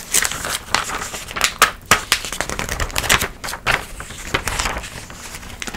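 A glossy paper magazine is held open while fingertips and long nails turn and flick its thin coated pages. Crisp, bright rustles and sharp papery snaps come in quick succession over a soft crinkling bed, with little low end and no ring after each flick.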